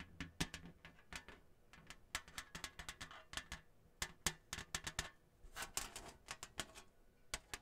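Long nails tap rapidly on the surface of a flat, thin, printed cardboard Hanukkah placemat with a menorah design, held in front of the mic. The result is a quick, uneven run of dry, bright clicks and taps with almost no ring, over a faint low hum.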